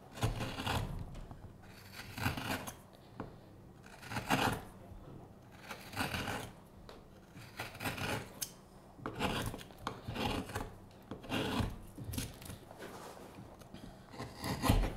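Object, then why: Wooden spoon blank. A solid, light wooden spoon blank with a curved handle is held in the hand while its bowl is carved and scraped with a steel hook knife. Repeated short, rasping scrapes come in bursts, each a broad dry shave with a bright edge and a soft low body, separated by brief quiet pauses.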